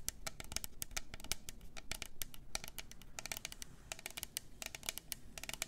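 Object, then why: Double-walled plastic tumbler cup. Long nails scratch and tap along the sides of a double-walled plastic glitter tumbler with a lid and straw. The result is a quick, uneven run of sharp, bright plastic clicks and scrapes over a soft low rumble, each tap dying away almost at once.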